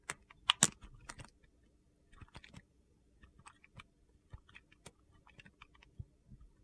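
A metal blade carves gritty crumbs off a small remaining piece of solid yellow soap pinched in the fingers. It makes sharp, bright, crunchy scraping clicks, loudest in a quick burst at the start, then quieter scattered crackles. Each sound dies away almost at once.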